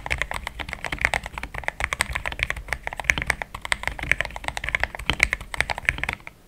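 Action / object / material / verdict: tap / plastic mechanical keyboard / plastic / none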